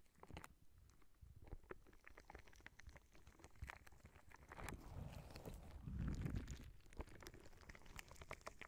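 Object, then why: Soft rubber spiky ball. A clear, soft rubber spiky squishy ball is held against the microphone, squeezed and squished by hand while fingernails rub its spikes. The result is a close run of low, squelchy, rumbling rubber noise broken by quick bright clicks and scratches, swelling to a louder squish about six seconds in.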